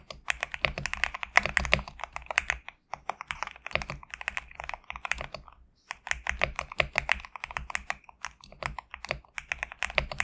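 A GMK67 compact mechanical keyboard with PBT plastic keycaps is typed on with fingertips. Quick, bright, crisp clacks run in dense bursts with short pauses near 2.8 and 5.7 seconds. A faint low hum sits underneath.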